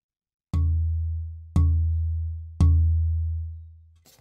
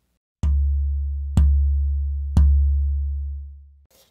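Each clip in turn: First: Three low tap tones near 82 Hz, each ringing about a second; the denser cedar plate gives the higher pitch. Second: Three taps on a light cedar soundboard plate, each leaving a low, deep tone that rings on; flexible, low-density wood.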